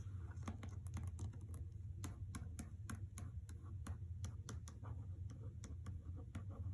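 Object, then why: Hardcover book in a paper dust jacket. Long nails tap and scratch across the paper dust jacket of the hardcover novel "The Trespasser" resting on carpet. Quick, dry clicks and soft scraping patter come over a steady low hum, and each tap dies away almost at once.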